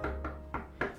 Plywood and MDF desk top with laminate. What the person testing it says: gua ngerasa ini Solid banget di setiap bagiannya nggak ada kopongnya gitu kalau gua ketok-ketok